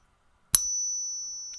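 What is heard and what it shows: A 40% silver half dollar is pinged once on a Pocket Pinger, giving a single sharp strike followed by a very high, pure ring that slowly fades over about a second. It rings at a noticeably higher pitch than a 90% silver coin, revealing its different alloy.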